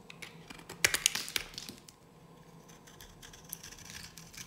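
A solid, dry yellow bar of soap held in the hand is carved with a metal blade. Bright, crisp scraping and cutting clicks cluster in the first second and a half, then fade into softer, sparser scratching with a brief sharper stroke near the end.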